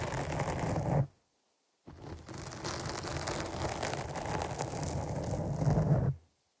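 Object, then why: Foam microphone windscreen. Long nails scratch the black foam windscreen on a microphone, producing a dense, low-weighted rustling scrape. The scratching runs for about a second, stops abruptly into near silence, then resumes and continues steadily for about four more seconds before cutting off.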